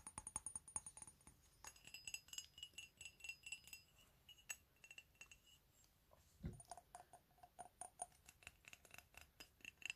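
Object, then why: Ceramic coffee mug. A medium white ceramic mug with "COFFEE" lettering, hollow and empty and turned upside down with its base showing, is tapped with fingernails. Rapid, quiet, bright clicks and clinks come in quick bursts, each with a high, glassy ping that dies away almost at once. A single duller, lower knock stands out midway through.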